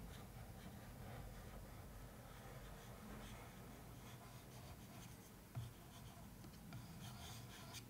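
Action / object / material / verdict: scrape / cardboard suitcase box / cardboard / none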